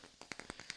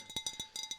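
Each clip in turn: First: wooden block. Second: glass vase.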